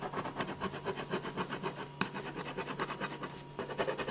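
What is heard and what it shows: A silver ballpoint pen scratches fast, dense hatching strokes across a large white paper sheet on a drawing board, shading hair in a portrait. The sound is a steady run of quick, rough scratching pulses with many rapid onsets, broadband and bright, plus a faint constant hum underneath and one sharper tick partway through.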